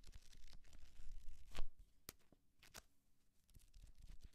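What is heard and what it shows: A small, thick paperback book is held in the hand while painted nails scratch and riffle along the edges of its paper pages. Quiet, dry rustling and papery scratches come in quick, uneven bursts, with a louder riffle around the middle before settling back into soft scratching.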